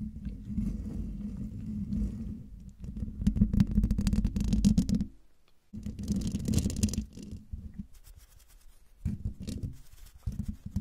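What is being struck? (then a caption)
Metal mesh microphone grille. A silver Blue Yeti microphone's hollow domed woven metal mesh grille is scratched and tapped with long dark-painted nails and fingertips. The result is a dense, low, rumbling scratch with a hum near 210 Hz in bursts, separated by a brief quiet gap, then lighter tapping toward the end.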